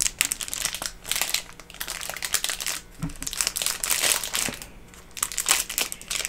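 A hand-sized, flat, rainbow pineapple-shaped silicone pop-it toy sealed in a thin clear cellophane/plastic bag is squeezed and handled by fingertips. The result is dense, bright crinkling of the thin plastic wrapper, a rapid run of short, sharp crackles that swell and fade in bursts over several seconds, with little low-end weight.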